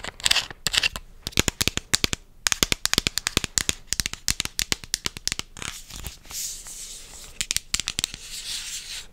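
A medium purple plastic vitamin bottle with a white cap is held up and tapped and scratched with long dark-painted nails. Rapid, sharp, bright clicks come in dense bursts, giving way to softer, hissy scratching with scattered taps.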